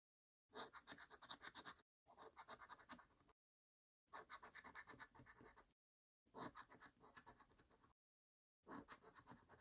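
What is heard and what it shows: A coin scrapes the latex coating off the symbol panels of a thin card Black Pearl scratchcard resting on a dark wooden table. Five bursts of rapid, rasping strokes are separated by short silences. The sound is a bright, papery scratch with very little low end.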